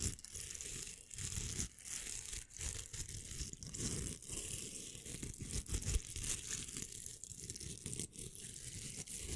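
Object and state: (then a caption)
Velcro hair roller being scratched. Fingernails scratch across the hook surface of a pink hollow velcro hair roller, making a continuous raspy, crackling scrape. The sound comes in rapid strokes with short dips between them, mixing a low rumble with a bright, hissy rasp that stops dead with no ring.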